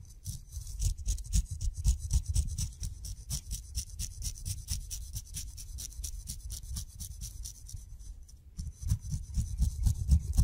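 A steel razor blade shaves across the fuzzy skin of a whole kiwi fruit held in the fingers. Rapid, uneven scraping strokes, about four per second, each carry a faint bright hiss over a deep, close-up rumbling thump. The strokes soften briefly near the end before picking up again.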